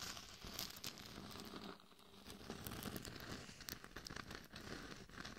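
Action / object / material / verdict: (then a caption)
scrape / glitter-coated plastic mannequin head / plastic, glitter / none. Long nails scratch the sides and cheeks of a glitter-covered hollow mannequin head fitted as a microphone, making a steady crinkling, crackling rasp with bright, gritty texture. The scratching runs continuously with many quick scrapes, easing briefly near the middle before picking up again.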